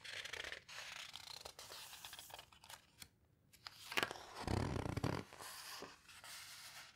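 A hand turns a page of a large open paper photo book, then fingertips with long red nails rest on and rub and squeeze the coarse paper page. Dry, papery scratching and crinkling rustles come in uneven bursts, with a fuller, louder swish of paper about halfway through.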